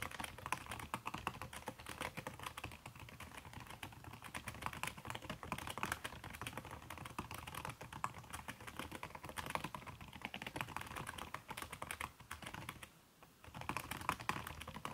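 Fast typing on a backlit aluminium laptop keyboard whose plastic keys are covered by a red silicone skin, struck with fingertips and long red-painted nails. A dense, continuous stream of soft, muted clicks and taps runs throughout, with a brief lull near the end before the typing resumes.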